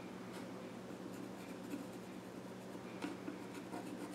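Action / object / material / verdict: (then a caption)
scrape / pencil on wooden stool / wood / none. A pencil tip scratches drawing strokes across the flat top of a small reddish-brown wooden child's stool with visible grain. The result is a quiet, steady scratching and rubbing with faint bright strokes over a low, constant hum.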